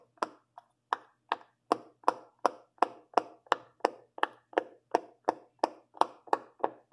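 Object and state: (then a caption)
Silicone pop-it fidget toy. A fingertip with a long purple nail presses the hollow bubble domes of a large rainbow silicone pop-it fidget toy one after another. It makes 19 quick, dry pops at a steady pace, each a short midrange snap with a faint bright edge and almost no ring. The first few are softer.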